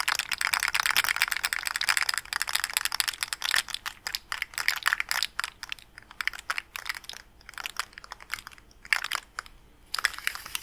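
A small rainbow plastic articulated slug fidget toy with hollow segments is held up and flexed and twisted with the fingers, so its segments click against each other. Bright, dry, crinkly clicking comes in a dense rattling stream at first, then breaks into sparser, quicker bursts of clicks with short pauses between them.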